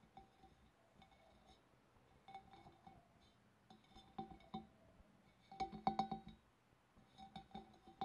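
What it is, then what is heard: Glass fish bowl. Fingernails tap on a glass fish bowl in irregular clusters, each tap giving a short, clear clink that rings around 780 Hz with bright overtones. The taps come in quick bursts with short pauses, growing louder toward the middle before easing off again.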